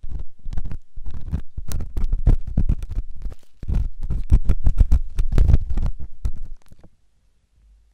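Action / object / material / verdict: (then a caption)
scrape / silicone microphone ear scraped with a metal ear pick / silicone / none. A metal ear pick scratches inside the canal of a white solid silicone ear on a binaural microphone. It makes dense, irregular, low rumbling scrapes with faint bright edges, fading to near silence at the end.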